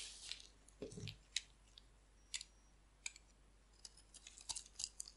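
A hand-sized, solid, oval bar of dry white soap is held in the hand and scraped and carved with a metal utility blade, shaving off crumbly white flakes. The sound is a series of short, bright, crisp scrapes and crunchy clicks separated by quiet pauses, with one softer, lower scuff near the start.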